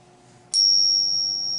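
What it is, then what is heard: Silver dollar ping test. A Peace dollar silver coin is tapped once for a ping test, its ring checked with a coin ping tester app set for Peace dollars. A single strike gives a clear, high, sustained ring that lasts about a second, fading only slowly.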